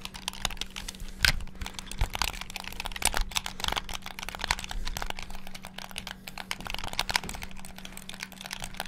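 Fingertips rapidly press the buttons of a black hollow plastic Xbox-style gamepad. The result is a dense stream of sharp, bright plastic clicks and taps that stop almost instantly, over a faint steady low hum.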